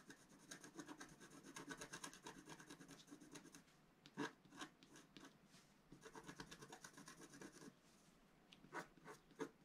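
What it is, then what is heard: Scratch art paper sheet. A wooden stylus scratches near the top of a flat black-coated scratch art paper sheet, held flat on a table by the other hand. Two stretches of fast, rhythmic, rasping scratches are heard, separated by a few sharper, isolated strokes. The strokes have a bright, papery hiss and no ring.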